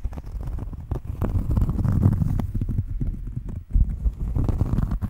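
A round, flat cork coaster is scratched and tapped with long fingernails close to a microphone. Dense, rapid, muffled taps and scratches sound heavy in the bass, with dry, short hits and almost no high end. There is a brief dip in level before the tapping picks back up.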